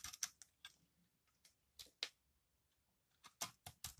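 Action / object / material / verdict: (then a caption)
scrape / soap bar cut with a knife / soap / none. A metal knife blade shaves and cuts crunchy layers off a solid green, dry recycled soap bar held in the hand. The result is a series of quiet, bright, dry crunching and scraping snaps, each very short, spaced unevenly with near silence between them.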